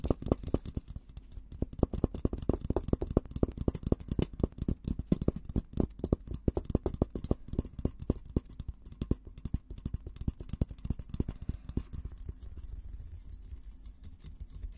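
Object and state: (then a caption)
Steel military helmet. Fingertips tap and scratch the dome of a hollow, olive-green painted steel military helmet. The result is a rapid, uneven stream of dull, low knocks with very short decay, mixed with soft scratching that keeps going throughout and eases slightly toward the end.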